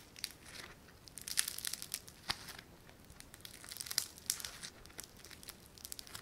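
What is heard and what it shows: A palm-sized, solid lump of yellow foam-bead clay (floam) is pulled apart and squeezed between fingers and thumbs. It gives off quiet, crinkly cracking: a dense run of sharp, high, bright crackles and snaps with almost no low end. The crackles come in bursts of varying intensity.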